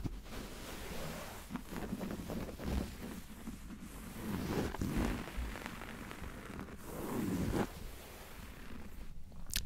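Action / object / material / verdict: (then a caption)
scrape / upholstered sofa armrest with woven fabric cover / woven fabric / none. Fingertips and short nails scratch and rub the light grey woven fabric of a soft, padded, solid upholstered sofa armrest right next to a handheld microphone. The result is a close, muffled scratching and rustling with a low, rumbly texture, coming in irregular strokes that swell and fade.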